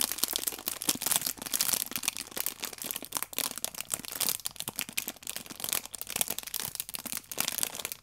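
Fingertips and nails rub the clear plastic wrap on an orange pack of paper baking powder sachets held in both hands. The film gives a steady, bright crinkling made of dense, crisp little crackles with almost no low end. Each crackle stops at once, with no ring.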